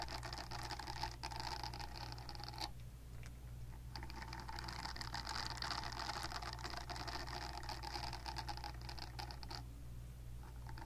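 Long nails scratch the nubbed silicone surface of a silicone facial cleansing brush pad held in one hand, making a dense, bright scratching texture over a steady low hum. The scratching pauses briefly around the three-second mark and again near the end, leaving only the low hum.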